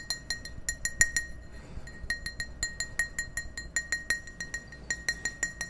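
Fingertips and nails tap the wall of an empty, hollow clear glass tumbler held close to the microphones. Over twenty quick, bright clinks ring at a pitch near 1.9 kHz with high overtones, each dying away almost at once. A brief pause in the tapping falls in the middle.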